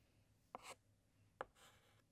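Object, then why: Chalk stick on a chalkboard. A white chalk stick writes and outlines letters on a large, flat black chalkboard. Three sharp taps of the chalk against the board can be heard, each followed by a short, bright scratching stroke. Quiet pauses separate the taps and strokes.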